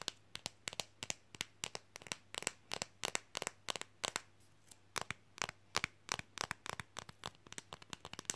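A thin, flexible, red Coca-Cola printed fridge magnet, held close, is tapped and scratched quickly with long fingernails. About forty sharp, dry, bright clicks come in a rapid, uneven run with almost no ring and little low end. Faint crinkly scratching fills the gaps, with a brief lull just after four seconds.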